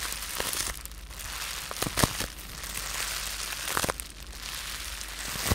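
A rolled-up tube of blue-tinted polyethylene bubble wrap with air-filled bubbles is held in both hands while fingertips and short nails squeeze and pop the bubbles. Steady bright crinkling of the plastic runs throughout, broken by sharp, short pops that stand out around the two- and four-second marks.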